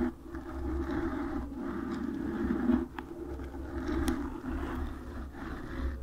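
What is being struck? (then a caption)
Foam microphone windscreen. Long nails scratch across the surface of a black foam microphone windscreen, producing a steady, close-up scratchy rustle with a low rumbling undertone. Two brief, sharp ticks stand out partway through the scratching.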